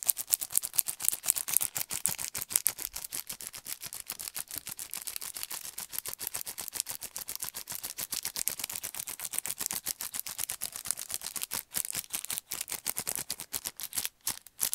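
A paint brush set in a cardboard and plastic blister pack is held up in one hand and rapidly tapped and scratched with the fingernails. The result is a dense, fast stream of sharp, bright plastic clicks and scratchy crackles, concentrated in the high frequencies with almost no low end. It runs continuously for about 15 seconds with brief pauses near the end.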